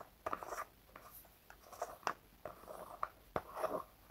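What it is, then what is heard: Plastic hair wax jar. A small round red plastic Gatsby hair wax jar is held and scratched and tapped with fingertips and nails along the lid rim and sides. Soft, quick clicks alternate with brief scratchy rubs, each dying away almost instantly. The result is a quiet, dry, mid-pitched plastic tapping.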